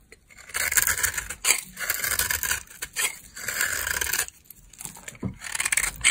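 A solid beige bar of dry soap, held in a long-nailed hand, is scraped and carved with a utility knife blade. Bursts of dry, bright scraping rise and fall in several passes, with quick crisp crackles and a sharp click near the end.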